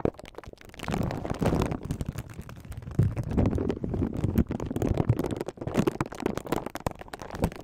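An empty, thin, clear crinkly plastic film sleeve is held between the fingertips of both hands over the microphone and scrunched and rubbed. It produces close, dense crinkling with a heavy low, muffled rumble and rapid crackling bursts that swell and fade throughout.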